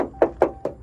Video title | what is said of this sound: What to look for when buying a 2010-2018 Ram 2500 Cummins | this one all sounds like metal there's no Bondo in here there's nothing like that